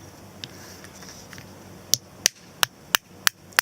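A nut in its shell, left in a garden and suspected of being emptied by possums, is tapped: one faint tap, then six sharp, bright clicks in quick succession with almost no ring. It sounds hollow, showing the nut is empty, with only air inside.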